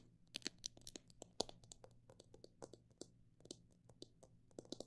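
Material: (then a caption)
Plastic. Fingernails tap on a plastic bottle that holds parrot seed, in quick, irregular bursts. Each tap is a short, dry, bright click with no ring, over a faint steady low hum.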